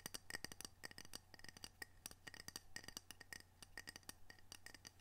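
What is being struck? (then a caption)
Ceramic coaster. A ceramic coaster from Camano Island, Washington, decorated with orcas, is tapped and scratched for ASMR. It gives a rapid series of light, bright clinks with a glassy ring near 1.9 kHz that fades almost at once. A faint, steady low hum sits underneath.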